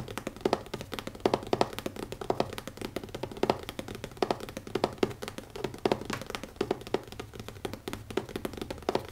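Fingertips tap quickly on the cover of a new leather notebook, with no talking. The taps are short, dry and muted, with a mid-range tone and almost no ring, coming in a steady, uneven patter with occasional louder strikes.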